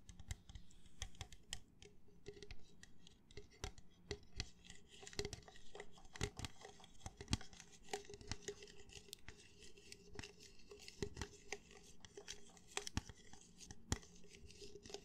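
Fingernails scratch and tap the side of an empty, hollow red plastic party cup held near the mic. Quiet, continuous scratchy rustling is broken by many quick, dry, bright clicks that stop instantly, over a faint low hum.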